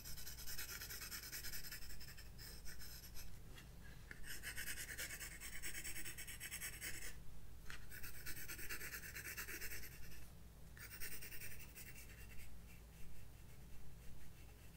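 A graphite pencil scratches and shades across a page of white drawing paper in a spiral-bound sketchbook resting on a wooden desk. Quiet, bright, papery rasping strokes come in uneven bursts, with brief pauses near 7.5 and 10.5 seconds, over a steady low hum.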